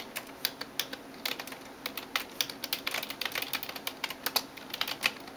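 A hand types rapidly on a backlit plastic computer keyboard with fingertips and nails. The result is a quick, uneven stream of sharp, bright clicking taps that stop short, with almost no low end and a soft, steady hiss underneath.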